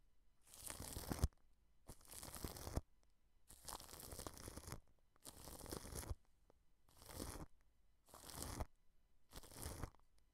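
A wide paintbrush is brushed across clear plastic cling film wrapped over a microphone head. Seven separate strokes each produce a dense, crinkly, tearing-like rustle that spreads from a deep low rumble up into a bright hiss, with near-silent pauses between them.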